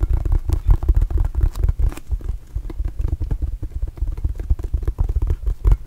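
A red and blue Arizona rubber mini basketball, hollow and inflated, is held and tapped with fingertips and palm. The result is a rapid, uneven stream of soft, deep, hollow thumps that are almost entirely low in pitch with no brightness, each dying away almost instantly.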